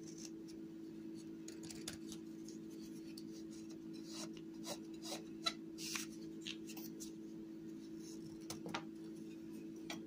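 A small solid piece of dry white clay, held in the hand, is shaved with a yellow utility knife blade. Quiet, dry scraping and rasping strokes come in short bright bursts, with a few sharper cuts standing out, over a steady low hum.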